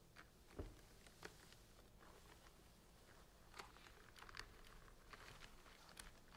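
Fingernails scratch and tap across the tops of the blue plastic screw caps on hollow plastic centrifuge tubes packed into a large rack. Soft, bright clicks and light scratching stand out over a quiet, steady low background hum, with sharper taps scattered through the clip.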